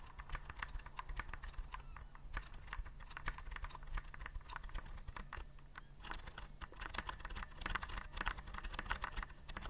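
Fingertips press the round keycaps of a white plastic typewriter-style keyboard held upright, making a rapid, steady stream of short, crisp plastic clicks. The clicks are bright and dry, centered in the mid-highs, and sit over a constant low hum.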